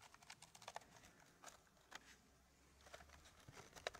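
Fingertips and short nails tap and scratch across the grooved surface of a square, flat, solid wooden puzzle tray, whose laser-cut Gosper-curve pattern of fitted wooden pieces is tilted up at the edge. Quiet, dry clicks and brief scratches sound in an irregular stream, each dying away almost instantly, with the sharpest tick near the end.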